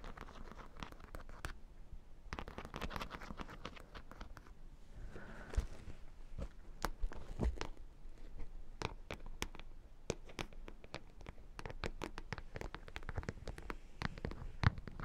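Long nails scratch over the studs of a hollow, studded black faux leather clutch, which is then held and scratched close to the microphones. The result is a dense, dry crackle of short scratchy clicks and crinkly scrapes, heavy in the low end with sharp, brief snaps scattered throughout.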